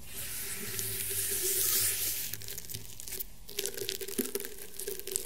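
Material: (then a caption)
Rattan. Painted fingernails scratch across the woven fibres of a flat, round, woven rattan table mat. A continuous bright, dry rasp swells over the first two seconds, then a brief near-pause follows. After that come quieter, sparser scratches with small sharp peaks, over a faint steady low hum.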